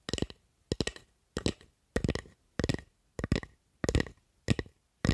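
Long acrylic nails scratch and tap along the handle and blade of a solid wooden spatula held in both hands. The result is a series of short, dry, clicky bursts with a dull low thud and bright scratchy edges, each fading quickly into silence before the next.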